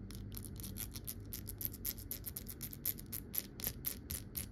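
Long patterned nails tap and scratch the body and neck of a hollow amber glass swing-top bottle with a wire closure and white stopper, lying on its side. A quick, uneven run of short, bright scratchy strokes rises over a low, steady rumble, each stroke dying away almost at once.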